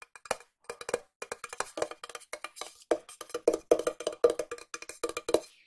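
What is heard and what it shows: A small, hollow, cylindrical silver metal tin is tapped with long nails on its side and lid while being turned in the hand. A rapid, irregular series of short, dry clicks, some quick bursts and some spaced out, carries a hollow tone around 480 Hz. Each tap dies away almost instantly with no ring.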